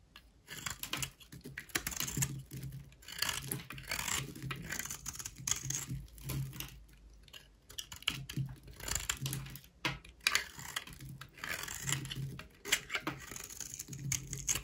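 A solid, dry, beige rectangular bar of soap is held in the hand and scraped with a utility knife blade. The result is bursts of rapid, dry, bright scratching and crackling with short pauses in between, plus a faint low hum underneath.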